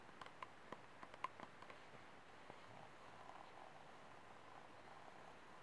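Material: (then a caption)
Plastic. Short nails tap nine times in quick succession on the ribbed side wall of an empty, hollow, disposable white plastic cup held sideways, each tap a brief, dry click with a faint ringing tone around 1 kHz. The nails then scratch across the ribs, making a soft, steady rasping texture for the rest of the clip.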